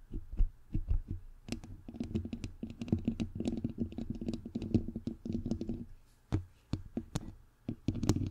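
Fingertips and long nails tap and rub both sides of a bare, hollow white perforated metal mesh microphone grille. Dense, quick, soft thumps and scratchy rubbing dominate, deep and boomy with little brightness. Each tap dies away almost instantly, with a few sharper, louder knocks standing out near the end.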